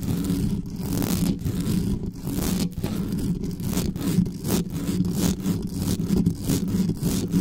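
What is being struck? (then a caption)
Metal mesh microphone grille. Long nails of both hands quickly scratch the hollow metal mesh grille of a black condenser microphone. The result is a continuous, heavy, low rumbling scrape with constant rustling and brief bright hissy streaks across the top.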